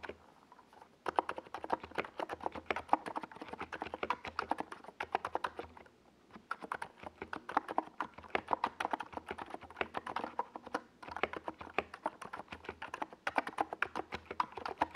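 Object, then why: Plastic mechanical keyboard. A compact 68-key NiZ Plum Atom 68 mechanical keyboard with a hollow white plastic case and purple and yellow plastic Domikey Gas Attack SA keycaps sits on a desk pad while both hands type on it with their fingertips. Rapid, dense clacking keystrokes sound hollow and plastic, centered in the mids around 800 Hz with a faint low hum beneath. The typing runs in steady bursts with brief pauses near the start and around the six-second mark.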